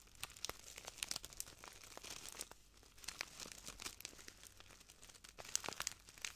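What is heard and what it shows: A small clear plastic bag full of translucent granules is crinkled and squeezed by the fingertips of both hands. It makes a quiet, steady stream of crisp, bright crinkles and sharp little crackles, with a few louder bursts near the start and end.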